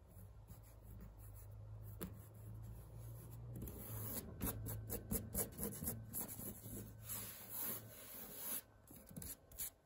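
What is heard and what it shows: A hand rubs, then scratches with its nails, a thin printed woven fabric wall tapestry bearing the word "STAND." Soft, dry rubbing over a steady low hum builds into a run of quick, raspy scratching strokes with bright edges from about four seconds on. The scratching then tapers to a few lighter scrapes.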